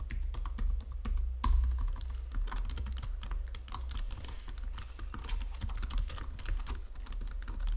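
Fingertips with long nails tap on the number pad of a white plastic Logitech full-size keyboard, then type on the main keys. The result is a fast, uneven stream of sharp plastic clicks and taps over a steady low hum.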